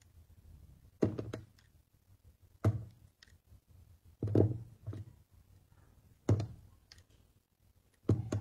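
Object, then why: Glycerin soap block. A small, solid, translucent clear glycerin soap block with red and pink inclusions is held in a hand with taped fingers and shaved into thin curls with a utility knife blade, with repeated scraping and cutting. Each cut lands as a short, dull, low knock or thunk that dies away quickly, coming in separate bursts with quiet gaps between them.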